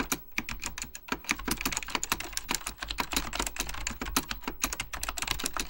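Fingertips type rapidly on an Apple Extended Keyboard II, a plastic mechanical computer keyboard with beige plastic keycaps and a hollow plastic case. A dense stream of sharp, bright key clicks follows, each dying away almost at once, over a faint, steady low hum.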